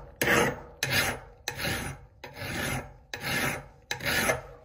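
A gloved hand drives a hand file back and forth over the flat and pointed peen of an extremely rusted, solid forged steel Italian hammer head held in a vise. Six separate rasping strokes are heard, each a bright, gritty scrape with a sharp onset that fades before the next.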